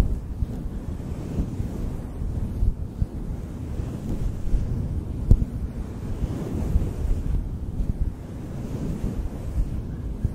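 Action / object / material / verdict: scrape / synthetic fur microphone windscreen / synthetic fur / none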